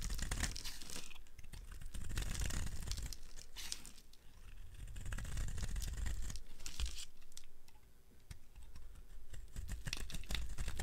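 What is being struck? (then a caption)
Bar of soap carved with a blade. A blade carves a dry, solid red Oasis bar soap held in the hand, breaking off thick flakes. It makes a dense run of quick, crisp scraping and crunching cuts, with a deep dull body under bright crackle. The carving eases briefly twice before picking up again.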